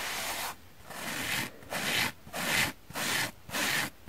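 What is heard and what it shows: A palm-sized, oval, dry, yellow, porous, solid foam sponge held in the hand is scratched with long painted fingernails. Six rough, hissy scratching strokes come in a steady rhythm, with brief quiet gaps between them.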